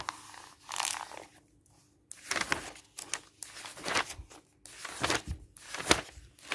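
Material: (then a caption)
Paper. A flat-lying open paper catalog with thin glossy pages is handled as fingertips slide and rub across the pages and turn them. Bursts of bright, crinkly rustling and papery swishes come in uneven clusters, separated by short quiet gaps, with a faint steady hum underneath.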